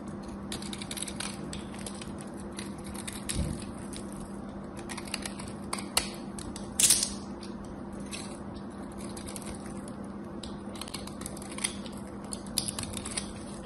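A solid soap bar with a gold coating is scored and shaved with a craft knife, giving a steady crackly scraping full of small bright clicks over a low constant hum. A louder, brighter rasp stands out near the middle of the clip before the quieter shaving resumes.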